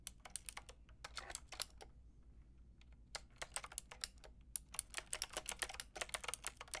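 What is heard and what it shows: Fingertips with long red nails tap a Lofree plastic mechanical keyboard with a plastic frame and round keycaps, making about thirty quick, bright clicks. The clicks come in bursts with a short quiet pause in the middle. Each click is crisp and dies away almost instantly.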